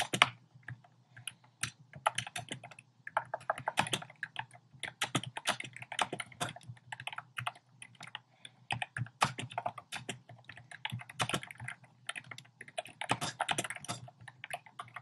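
Fingertips type quickly on a compact plastic mechanical keyboard with a black plastic case and round pastel plastic keycaps. The result is a steady stream of short, bright, clacky keystrokes in uneven bursts and pauses, each click dying away almost instantly over a faint low hum.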